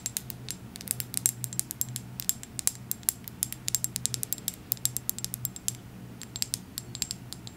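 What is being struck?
Small glass dropper bottle.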